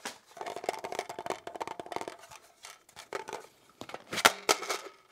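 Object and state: Polymer pistol magazine.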